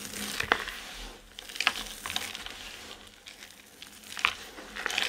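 Two hands cup and squeeze a mound of dry colored soap chips, crumbling them between the palms. Dry, bright crunching and crackling with sharp crisp snaps comes in uneven bursts that swell and fade, with almost no low end.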